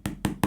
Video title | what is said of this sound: HP Penebus DOSA Google‼️ Google Pixel 7a | material belakangnya dari plastik ya, yang kalau diketok-ketok berasa kopong sih